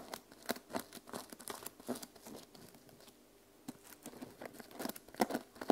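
Fingertips and long nails scratch and flip the teal and silver plastic sequins on the cover of a small journal held flat. The result is a run of quick, dry crinkly scrapes and clicks in irregular bursts, with a quieter stretch in the middle before the scratching picks up again.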